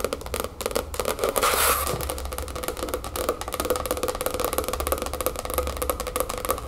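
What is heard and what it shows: Long acrylic nails and fingertips of both hands tap quickly on a large, closed, black hardcover spiral-bound sketchbook with a black cardboard cover, lying flat on a wooden table. The result is a steady, dense stream of short, dry clicks and soft thuds with a hollow ring around 550 Hz and a bright edge from the nails.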